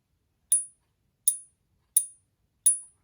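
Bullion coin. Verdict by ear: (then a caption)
Fake. A counterfeit Silver Eagle coin is pinged four times, each strike giving a short, bright, high-pitched tick that dies away almost at once with no sustained ring. The sound is dead and flat with poor resonance, so the fake coin fails the ping test.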